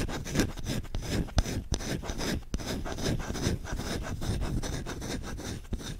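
Short fingertips scratch and rub fast and aggressively across the bowl of a solid wooden spoon. The result is a dense, dry, continuous scraping texture, heavy in low rumble with a few sharper, brighter scratches standing out.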